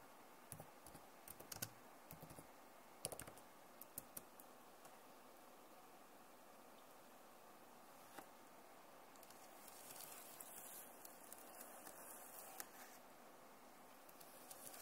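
Long nails tap and type on a backlit plastic laptop keyboard, producing light, quick clicks over a steady soft hiss. The taps come in irregular bursts early on, then thin out into a faint, bright rustling scratching as the hands mostly leave the frame.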